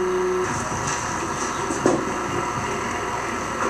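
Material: Nothing is struck.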